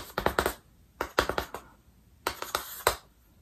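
A small chalk stick is struck and dragged by hand across a large, flat, black-painted chalkboard in a wooden frame held upright. It makes fast, crisp tapping and scratching strokes in three quick flurries, about a dozen dry clicks in all, each dying away almost instantly. Quiet pauses fall between the flurries.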